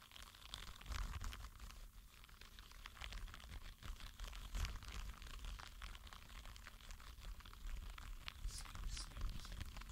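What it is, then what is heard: Rubber spiky sensory ball. A green spiky rubber sensory ball is squeezed and rolled between flat palms. It makes a steady stream of soft, crinkly, crackling rubs and squeaks over a low rumble, with bright flecks of texture scattered throughout.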